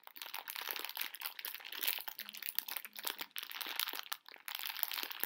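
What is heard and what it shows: A full plastic bag of tiny conversation heart candies is squeezed, crinkled and shaken by hand. It makes a dense, bright crinkling with sharp crackles and the crunchy rattle of the candies shifting inside, with almost no low end. The noise runs nearly continuously, with only brief dips between squeezes.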